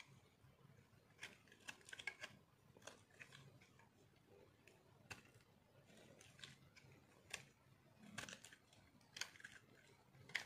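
A metal knife scrapes flakes off a small, solid, white, dry soap bar held in one hand. The result is a quiet series of short, crisp, bright scratching and crunching strokes, each dying away almost instantly, over a faint low background hiss.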